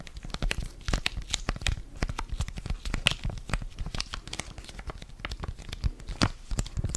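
Fingers crinkle and rub a flat blue foil-laminated sachet holding a sheet face mask, held in both hands. Dense, continuous crinkling and sharp, bright crackles run throughout, with dull low handling thumps underneath and no ringing after each burst.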